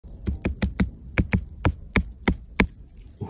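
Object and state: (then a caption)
Solid porcini mushroom. A foraged porcini mushroom (Boletus edulis) is tapped ten times in an irregular rhythm, giving short, dull knocks with no ring. The knocks sound solid, suggesting firm, sound flesh before the mushroom is sliced and cooked.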